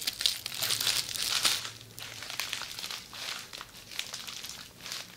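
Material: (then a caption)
Plastic. Red plastic bubble wrap rolled into a hollow tube and held in front of the body is scratched and squeezed with long nails. Dense, bright crinkling and crackling comes in uneven bursts, loudest in the first second and a half, then continues as softer rustling with small crisp pops.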